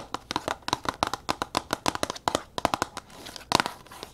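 A tall red printed cardboard product box is held upright while long nails tap and scratch quickly across its front and sides. About two dozen sharp, dry, papery taps come in a fast, uneven run. Brief scratchy rustling fills the gaps, including a softer scratching stretch just after the three-second mark, with no boom or ring after each hit.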